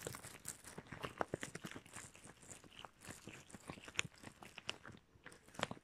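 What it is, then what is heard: Rubber gloves rubbed together. Shiny red rubber gloves worn on both hands have their fingertips and palms rubbed together and pressed. This produces a quiet, dense run of squeaky rubber friction with crackly, crunching texture and brief sharp squeaks peaking around 2.5 kHz. Each squeak dies off almost instantly, with bright upper content.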